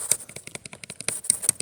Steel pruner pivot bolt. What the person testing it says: Hear that movement in there? That's me shaking it. That's a bit loose. It's a bit too loose.